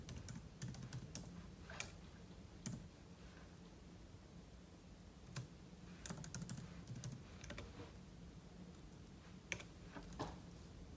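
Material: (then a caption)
Plastic. Fingertips type on a silver aluminum laptop keyboard with plastic keys, producing soft, short, bright key clicks in irregular bursts with brief pauses. A steady low hum sits underneath the quiet typing.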